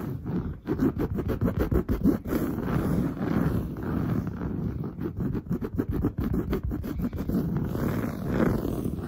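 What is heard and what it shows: Long blue nails scratch fast and hard across a padded, grey-brown textured woven fabric sofa. The result is a dense, continuous run of rough, low, muffled scraping strokes with little brightness, rising and falling as the nails rake the upholstery.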